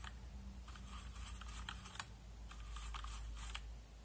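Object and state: Plastic mechanical keyboard being brushed.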